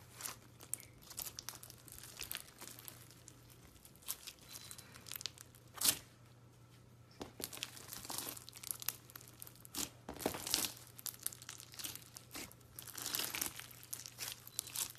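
A large, soft lump of light blue clear slime full of white foam beads and a few pink sequins is squeezed, folded and stretched with fingers. It makes quiet, bright crackling and crinkling pops in dense bursts over a faint, steady low hum.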